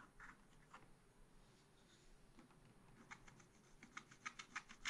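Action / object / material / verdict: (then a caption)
scrape / coated scratch-art paper card and wooden stylus / coated paper / none. A wooden stylus scratches the deer's head area on a thin, black-coated scratch-art card in a spiral pad. Quiet, dry, bright scratching strokes start soft and sparse. They become quicker, sharper and louder toward the end.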